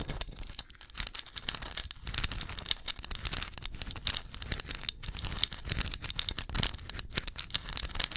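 Long nails scratch and tap the glazed front of a small, hollow, painted ceramic pumpkin ornament held in both hands. The result is a steady, dense stream of bright, dry scratching and quick clicky taps with very little ring, mostly in the high range and with only a light low-end thump.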